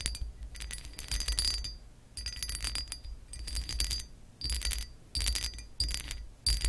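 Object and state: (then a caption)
Textured glass lamp base scratched with nails. Long acrylic nails scratch and tap the ridged surface of a hollow pressed-glass lamp base with a raised scale pattern, resting on a white cloth. Repeated bursts of bright, crackly scraping carry a high, thin glassy ring that fades quickly between strokes, over a faint low rumble.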